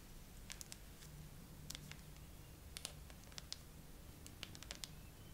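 Long acrylic nails slowly tap and scratch across the flat glass back of a bare graphite iPhone with a metal frame, a solid handheld-sized phone clamped upright in a tripod phone holder. Sharp, bright, quick clicks ring out at uneven intervals, with softer scratches in between, over a quiet, steady low hum.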